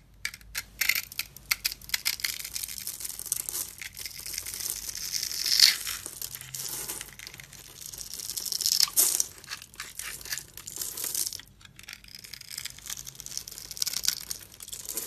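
A metal utility blade scores a solid, dry, hard brown soap bar held in the hand into a grid and scrapes off crumbly chips. Dense, bright crackling and scraping rasps come in bursts with sharp peaks, with almost no low end.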